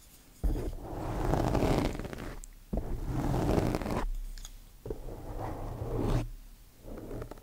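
Two thin wooden chopsticks poke and scratch a black foam microphone windscreen, producing dense, low, rumbling scratching and rustling. The sound comes in several long swelling bursts separated by brief quieter gaps.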